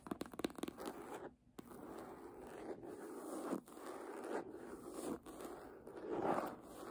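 Long nails scratch and tap the embossed cover and edge of a red faux-leather hardcover book lying flat. A burst of quick, dry taps opens the clip, then quick raking scratches follow in steady mid-pitched swells with brief pauses between strokes. The sounds are soft and short, with almost no ring.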